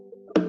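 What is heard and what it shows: A wooden ukulele body is tapped once to bring out the vibration and echo of thin tonewood, the way makers once graded wood as A or B stock. A single sharp knock rings out with a resonant, woody tone centered near 300 Hz and decays over a short moment, with faint steady tones underneath beforehand. The wood sounds resonant.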